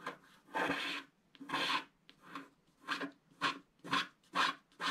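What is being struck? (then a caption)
Wax-coated scratch-art paper scratched with a wooden stylus. A wooden stylus scratches across a flat, black wax-coated scratch-art sheet, making a series of dry, raspy scraping strokes with bright, hissy texture. The coating flakes off and piles up as the strokes repeat at an uneven pace, each one separated by short pauses.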